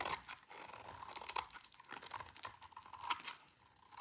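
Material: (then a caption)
Soap. A hand-sized solid bar of dry pink soap is held in the hands and shaved with a utility knife blade, scraping and cutting off crunchy curls into a pile of shavings. The clip is a quiet run of dense, crisp scratches and crackly crunches, bright and sharp, with almost no low end and no ring.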